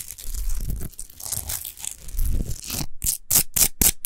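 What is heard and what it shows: Long nails scratch fast across a tall, rough-textured natural Himalayan rock salt lamp, unlit and made of solid salt. A continuous dry, crackling rasp with a low rumble runs for nearly three seconds, then breaks into five short, bright scratching strokes separated by brief silences.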